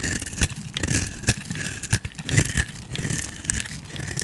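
A flat metal blade repeatedly scrapes and carves thin shavings from the surface of a palm-sized, solid purple and pink bar of soap held in hand. The result is a steady, crackly, crinkling scrape with bright, hissy texture over soft low thuds, broken by sharper scraping bursts.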